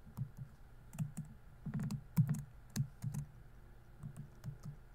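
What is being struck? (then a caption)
Plastic laptop keyboard. Fingertips type on a laptop keyboard with plastic keys, producing quiet, irregular taps. Each keystroke is a short, low thud with a bright click on top and almost no ring. The presses come singly and in small quick bursts.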